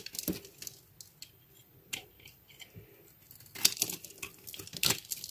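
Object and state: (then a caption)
Bar soap carved with a knife. A metal utility knife blade carves a hand-sized, solid blue bar of soap held in one hand, shaving and scraping dry flakes onto a white board. Bright, crisp scraping and crackling strokes come at an uneven pace, sparse and soft at first, then denser and louder toward the end.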